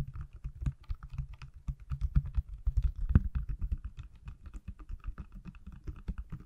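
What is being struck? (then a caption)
Silicone case on a phone. A pale green, hand-sized silicone case on an iPhone is tapped on its back with fingertips and nails, held above and beside the mic. Quick, dull, irregular taps follow one another closely, each a short thump with a faint brighter click. The sound is low and soft overall, with a few louder taps near the middle.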